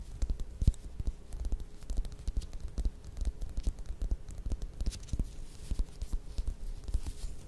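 Long nails tap and scratch the peel of a small whole mandarin orange held in the hands. The result is a steady run of quick, soft, dull taps with very short decay, mixed with faint scratchy rustling over the peel.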